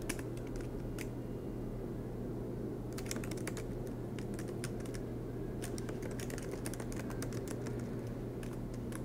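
Both hands type continuously with their fingertips on the black plastic low-profile keys of a silver aluminum MacBook Pro laptop resting on a green desk mat, producing rapid, soft key taps with bright clicky edges. The taps come in dense bursts over a steady low hum.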